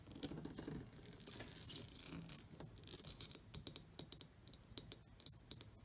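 Long painted nails scratch across the textured pattern and rim of an empty, medium-sized, shallow pressed/cut glass bowl sitting on a wooden table, making a continuous bright rasping sound. The nails then switch to sharp, quick taps, each giving a short, high glassy ring.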